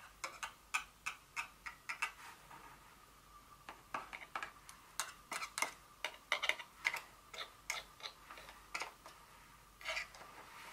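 Long nails tap the top edges and sides of a small, open, apparently empty white and blue paperboard Dior fragrance box standing upright on a table. Some 29 sharp, dry, bright ticks come in an irregular series, each dying out almost at once, with hardly any low end.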